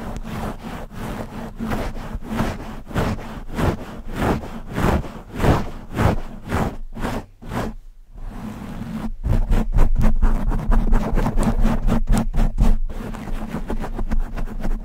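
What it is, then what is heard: Foam microphone windscreen being scratched. Long nails scratch fast across the soft, porous black foam windscreen covering a large condenser microphone's hollow grille. The result is rapid rustling, rubbing strokes at about two per second over a steady low hum, with a short near-silent pause around eight seconds before the scratching returns louder.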